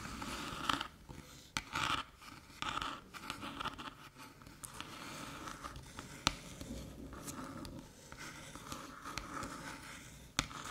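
Long metallic nails tap and scratch the top of a small, flat, hollow aluminium USB-C hub resting on a dark table. Soft, continuous scraping is broken by sharp, bright taps. A thin metallic tone sits around 1.3 kHz and dies away almost instantly after each tap.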